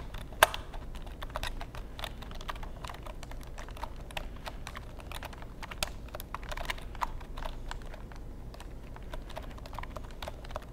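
Fingertips type steadily on a long black plastic computer keyboard held in front of the microphone. Quick, dry plastic key clicks patter continuously over a low steady hum, with one sharper, louder click near the start.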